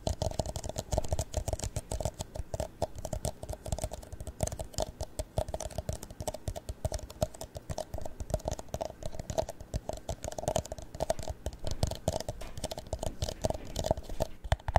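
An empty, hollow clear plastic drinking cup is held in the hands and rapidly tapped and lightly scratched with the nails. The result is a steady, dense patter of quick, soft clicks with a dull low body and a faint hollow ring around 600 Hz, continuing for the whole clip.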